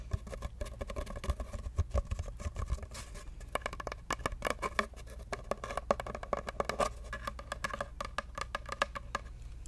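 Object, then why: Cardboard paper-towel tube. Long nails tap and scratch an empty, hollow brown cardboard paper-towel roll in a rapid, uneven patter. Each tap is a short, dry knock with a hollow tone around 580 Hz, under a steady low hum and soft scratchy rustle.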